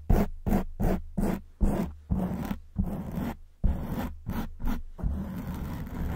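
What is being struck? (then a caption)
Foam microphone windscreen. Long white acrylic nails on both hands scratch fast over a black porous foam windscreen on a silver microphone. Eleven separate bursts of rough, scraping scratches come through, each with a heavy, boomy low rumble under a brittle, bright hiss. The final burst smears into a continuous rubbing scratch.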